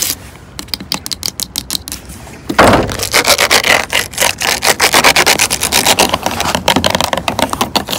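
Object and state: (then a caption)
Plastic water bottle tapped and scratched with nails. Long orange acrylic nails tap and scratch along the ridged sides of a clear, hollow plastic water bottle full of water, lying on a wooden bench. Soft, quick taps open the clip, then a louder, dense run of bright, crackly scratching and rapid tapping continues to the end.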